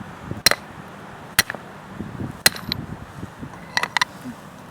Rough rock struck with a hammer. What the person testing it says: took a little Force but you see it still broke pretty it's fragile sounds like glass even